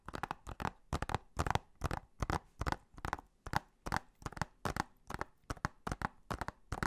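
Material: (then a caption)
Plastic. Fingernails tap and scratch along the back cover of a hollow blue plastic Blu-ray case. Quick, dry clicks come in short clustered bursts with brief scratchy strokes between them, with a hollow plastic tone around 780 Hz and almost no ring after each tap.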